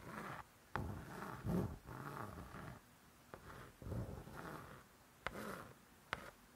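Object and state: Spiral-bound cookbook cover, tapped and scratched.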